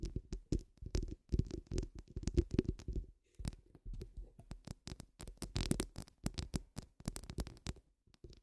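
Long nude acrylic nails on both hands scratch and tap across the woven steel mesh grille of a large, hollow, round microphone head. The result is a dense, uneven run of short, dull, low thuds and rasping scrapes with a boomy low-end body and little brightness. The run pauses briefly near the middle and again at the end.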